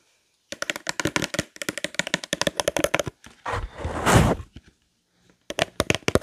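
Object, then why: Long cardboard box holding a roll of parchment paper. A long, thin, hollow cardboard box holding a roll of parchment paper is held in both hands close to the microphone and tapped quickly with fingertips and nails. The taps are dry, hollow and short, running in dense bursts. They pause for a louder, broad scraping rustle, then return in another short flurry.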